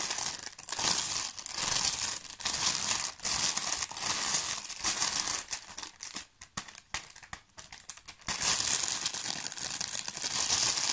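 A thin, clear, empty plastic bag with a small label is crinkled and squeezed by hand, giving a dense, bright crackling rustle. The crinkling eases into quieter, sparser crackles around the middle of the clip before returning at full intensity.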